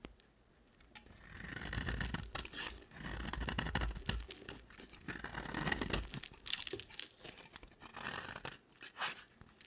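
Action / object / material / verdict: scrape / soap bar cut with a knife blade / soap / none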